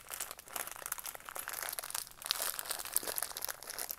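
A small, hollow retail craft kit package, a cardboard backing card with a clear plastic blister holding green and red pieces, is held in both hands while fingertips and nails squeeze and rub the plastic and card. It makes a steady stream of quiet, dense, bright crinkles and crackles with almost no low end, and a few sharper snaps stand out over the four seconds.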